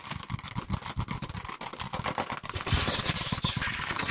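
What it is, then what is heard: Paperback book. A small paperback copy of "Scary Stories to Tell in the Dark" with a glossy paper cover, held in both hands close to the microphones, is tapped and scratched quickly by fingertips and short nails. Rapid, irregular dull taps with low thumps blend into dry scratching, and from about two-thirds through the scratching grows louder with a bright, hissy rasp.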